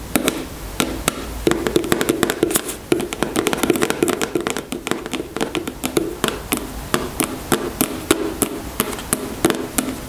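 Long nails tap repeatedly on the soft plastic body of a white gel-filled cosmetic tube held horizontally in both hands. The result is a steady stream of quick, dry clicks with bright tops over a soft, hollow low-mid tone near 320 Hz. Each tap dies away almost instantly.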